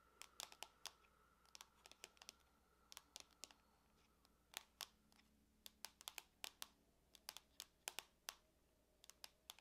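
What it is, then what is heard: Aluminum laptop lid. Long nails tap rapidly on the lid of a closed silver aluminum laptop resting on a table. The result is a quiet, uneven series of sharp, bright clicks, each dying away almost instantly with no low body, over a faint steady background hum.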